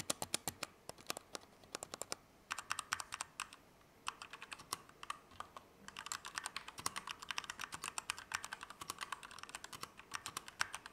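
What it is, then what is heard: Mechanical keyboard with plastic keycaps. A compact Keychron K2 V2 mechanical keyboard with Gateron Red switches, plastic keycaps and an aluminum frame is typed slowly with the fingertips. Each keystroke is a short, bright clack with almost no low end, coming in irregular bursts separated by brief pauses.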